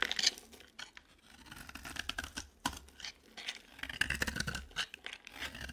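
A utility knife blade scrapes and shaves a dry, cream-colored, palm-sized solid bar of soap. The sound is a series of quiet, dry, bright scratching strokes with brief crackly peaks and very little low end, each stroke ending sharply with no ring.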